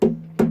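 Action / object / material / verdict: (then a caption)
knock / wooden acoustic guitar body and tuning key / wood / loose. Two knocks on the wooden body of a Blueridge acoustic guitar with its strings muted, each giving a short hollow thump with a low ringing tone that fades quickly. The knocks bring out an annoying rattle, traced not to a loose truss rod but to a loose wing button on a tuning key.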